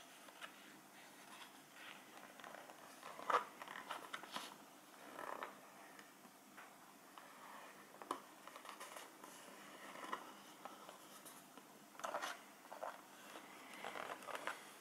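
A small, full printed cardboard cheese box is held in the hands and tapped and scratched with fingertips and nails, including along its side. Soft scratching and light tapping come in quiet, dry bursts with no low end, with brief sharper peaks at a few points.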